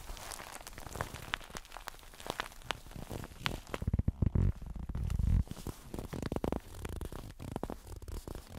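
Blue nitrile-gloved fingertips scratch and squeeze the lower front and sides of a stuffed plush toast pillow with a sad face, made of soft yellow fabric with solid stuffing. Irregular, crackly, low-heavy scratching rustles throughout, swelling into louder muffled squeeze thumps through the middle before settling back into quieter scratches.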